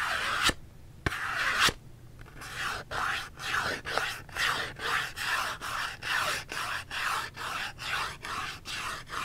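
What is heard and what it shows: Long fingernails scratch a small Dove cardboard soap box held upright in one hand. A few sharp clicks open the clip, then a steady run of dry, bright rasping strokes follows, each one brief and evenly paced with short gaps between.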